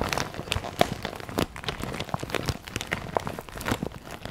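A clear vinyl zip pencil pouch with pink trim, filled with pens and highlighters, is held in both hands and tapped and scratched on its plastic with long nails. It gives a steady run of quick, dry crinkling taps and scratchy rustles with no ring after each touch.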